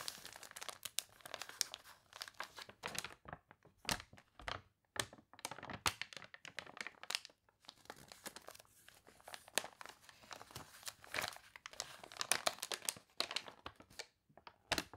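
Long dark nails scratch across the crinkled, glossy, water-wrinkled pages of an open, wavy paper catalog lying on a table, with one page turn. The result is a quiet, steady stream of bright, dry crinkling and crunching crackles with very little low end.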